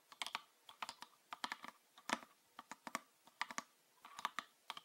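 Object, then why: Plastic bottle. Fingernails tap a green PET bottle with a red cap, full of liquid. About two dozen short, dry, clicky taps come in an uneven rhythm, bright with no low end and dying away almost instantly. Some taps fall in quick double or triple bursts.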